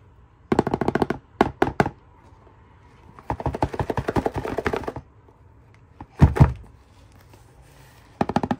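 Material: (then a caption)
Cardboard. Long painted nails and fingertips tap and scratch the front face and top edge of a small printed cardboard retail box for a Cocomelon game controller, held in hand with the toy inside. Bursts of quick, dry, hollow clicking and tapping come in clusters with quiet gaps between, including one longer run of rapid scratchy taps in the middle. Each tap dies away almost at once.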